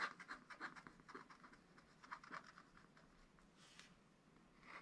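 A wooden stylus scratches and rubs lines into a black wax-coated scratch-art paper page in a spiral pad, working in the lower area of a bird picture. It makes quiet, continuous rasping scratches, with short bright strokes centred around 1.2 kHz that come in quick bursts and then thin to a soft hiss.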